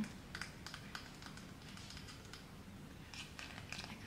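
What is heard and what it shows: Fingertips and nails scratch and flick across the wooden pin bristles of a handheld paddle hairbrush with a light wooden body, possibly bamboo, and a cushion base. The result is a quiet, steady run of soft, dry clicks and scratchy ticks with bright edges over a low background rumble, with each flick dying away almost at once.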